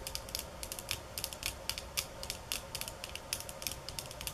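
Fingernails tap on bamboo sticks at varying speeds and intensities, producing a quick, uneven series of short, bright clicks. Each tap is crisp and dies away almost instantly over a faint steady background.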